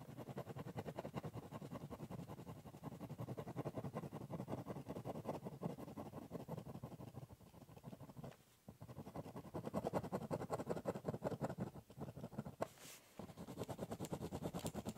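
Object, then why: Corrugated cardboard box and ballpoint pen. A ballpoint pen scribbles and cross-hatches across the top surface of a large, hollow, brown corrugated cardboard box. The result is a dense, continuous run of quick scratchy strokes with a low, boomy resonance from the hollow box. The scratching pauses briefly around the middle and again near the end before resuming.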